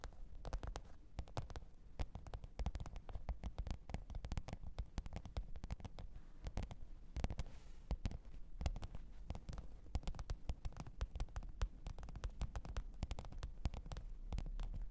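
Long pointed nails tap and scratch the top of a black, textured faux-leather hard-shell microphone case with a zipper, lying flat on fur. The result is a quiet, steady stream of rapid, dull taps with a soft low thud and very little brightness, each tap dying away almost instantly, mixed with faint scratching.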